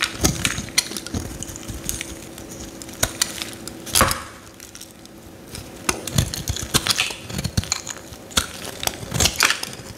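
A metal utility knife blade scrapes a grid of shavings off the face of a solid yellow Lifebuoy soap bar held in the hand. Many quick, crisp, bright scraping and crunching strokes sound in irregular bursts, with a quieter pause near the middle and a faint steady low hum underneath.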